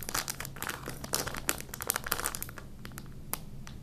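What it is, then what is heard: Plastic snack wrapper being crinkled. A small, thin, empty printed plastic snack packet, held in both hands over a patterned bedsheet, is crinkled and rubbed between the fingertips. This produces dense, bright crackling bursts that are busiest in the first couple of seconds, then thin out to softer rustling with one sharp crinkle near the end, over a faint low hum.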